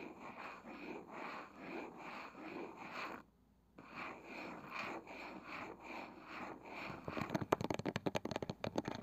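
A palm-sized round wooden box with a woven side and a pale wooden lid is scratched and tapped by long nails on the lid and rim. Soft, pulsing scratching strokes run for about three seconds, pause briefly, then resume. In the last couple of seconds they give way to quick, sharp taps.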